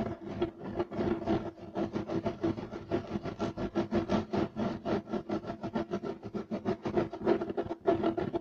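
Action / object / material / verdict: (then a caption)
scrape / woven fiber carpet / woven fiber / none. Fingertips and short nails scratch quickly at a beige striped woven fiber carpet on the floor. The result is a dense run of rapid, rough rasping strokes with a steady mid-pitched tone, following one another with little pause for the whole clip.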